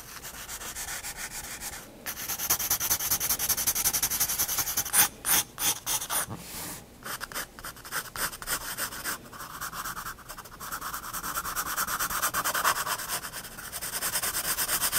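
A graphite pencil shades long strokes across a page of a spiral paper sketchbook resting on a wooden desk, the lead scratching steadily on the paper in a dense, bright, rubbing hiss broken by a few short pauses. Near the end the hand switches to a more upright grip, and the scratching gains a slightly lower, more focused tone.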